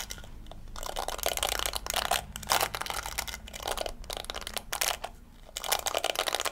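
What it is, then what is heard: Plastic scalp massager brush. Fingers and nails rake across the yellow plastic bristles of a round pink plastic scalp massager held close to the camera. Repeated bursts of crisp, crackling scratching come in bright, high-pitched waves, separated by brief quieter pauses.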